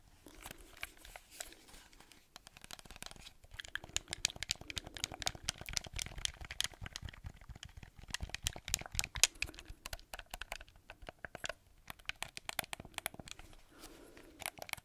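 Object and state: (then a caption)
Plastic game controller. Fingertips and nails tap and scratch a black, hollow plastic gamepad with face buttons close to the mic. The result is a dense run of quick, dry, bright clicks and scratchy crackles, some crinkly like tearing, each dying away almost instantly over a faint low rumble.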